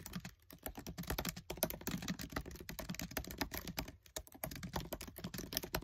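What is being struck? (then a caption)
Plastic laptop keyboard keys. Fingertips with short nails type fast on the black plastic keys of a MacBook Air keyboard set in an aluminium body. A dense, steady stream of short, dry clicks with bright ticks and soft low thumps is heard, each keystroke dying away almost instantly. The typing continues with only brief pauses.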